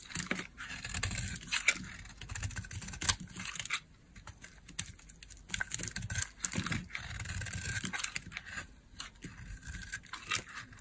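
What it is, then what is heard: Dry bar soap being carved. A metal blade carves dry flakes off a solid pink oval bar of soap held in the hand. Crisp, bright scraping and crackling come in quick bursts, with a soft low rumble underneath and short pauses between strokes.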